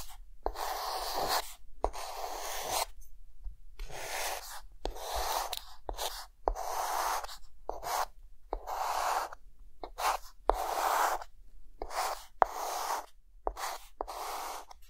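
A hand draws rows of figures with a white chalk stick on a flat dark green chalkboard, making bursts of dry, scratchy strokes. Sharp, brief taps mark each time the chalk meets the board, and the strokes come in an irregular rhythm with short silent pauses between them.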